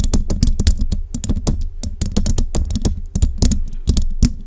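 Long rhinestone-covered nails on both hands rapidly tap the hollow metal mesh grille of a large studio microphone. The quick, continuous run of bright clicks sits over a deep, boomy thump, and each tap dies away almost at once.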